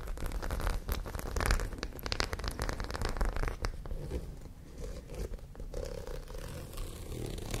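A white studded fabric pouch is held sideways near the mic while long nails scratch across the rows of studs. The result is a steady run of dense, crackly scratching and zipper-like rasps over a low rumble, louder in the first half and then settling into softer, sparser scrapes.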